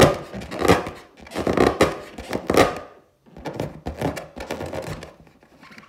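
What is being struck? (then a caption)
Inflated latex balloon. Long teal nails tap and scratch the skin of a large, hollow, inflated clear latex balloon with a gold pineapple print, recorded close-up. Dull, resonant thunks and scratchy swishes centered in the mid range come in uneven bursts. A brief silence near the middle is followed by softer, quicker tapping.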